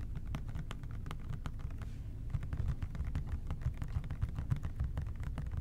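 Fingertips tap rapidly on a hollow plastic OxiClean spray cleaner bottle with a white trigger top, held in both hands. The result is a steady stream of soft, dull, low-pitched taps with very short decay and faint bright clicks on top.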